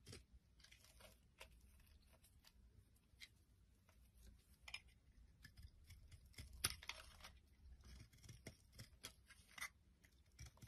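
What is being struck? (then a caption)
Bar of soap scraped by a metal blade. A metal blade scrapes flakes off a solid green-and-white bar of soap held in the palm. Quiet, irregular scraping strokes come in quick succession, each a short, crisp, bright rasp over a soft low rumble, with a few sharper cuts standing out near the middle and end.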